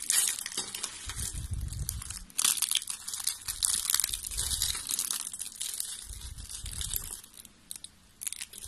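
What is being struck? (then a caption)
Thin soap strips. Thin, flat, beige strips of dry soap are snapped and crumpled between fingers with long pink nails. The result is a dense, bright, crunchy crackling with sharp breaking snaps that come in bursts, backed by soft low thumps from the handling.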